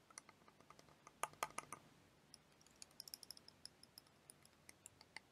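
A small clear plastic liquid motion timer toy, filled with blue liquid and yellow wheels and held in one hand, is tapped with long dark-painted nails. The result is a series of sharp, dry, bright clicks with almost no ring and no low end. A louder cluster of taps comes early, then lighter, quicker taps follow.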